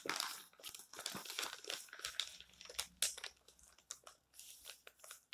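Fingertips grip and turn the thin coated pages of an open glossy colour magazine lying flat on a table, and flat palms rub across them. The result is a quiet, bright, crinkling rustle in short bursts of crackle and swish, with little low end.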